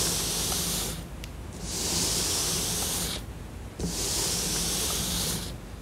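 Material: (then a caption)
Cardboard. Long nails scratch and rub across a flat, glossy printed cardboard jigsaw puzzle. They make repeated bright, hissing scraping strokes separated by brief quieter pauses, over a faint low hum.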